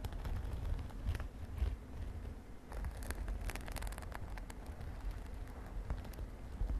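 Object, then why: Padded synthetic glitter fabric makeup pouch. A medium, padded, mint-green glittery synthetic fabric makeup pouch lying on a bed sheet is tapped and scratched with long dark nails and fingertips. The result is a steady run of soft, muffled low thumps mixed with dry, crackly scratching and occasional bright, sharp clicks that die away almost instantly.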